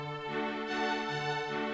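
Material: Nothing is struck.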